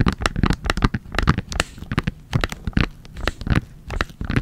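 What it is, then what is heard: Soft plastic wipes pouch with hard lid. A full Sanrio makeup wipes pack, a soft plastic pouch with a hard plastic flip lid, is held in both hands and tapped and scratched with long nails. Quick, irregular taps land with dull, low thumps and short crinkly, scratchy clicks that die away almost instantly.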